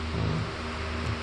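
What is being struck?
Nothing is struck.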